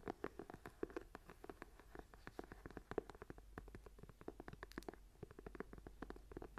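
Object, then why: Leather-covered journal. Long nails tap and scratch along the edge and spine of a small closed journal with a brown leather cover, held up edge-on. A quiet, rapid, uneven stream of short, dry taps with a soft, low-mid body is mixed with faint scratching, and each tap dies away almost instantly.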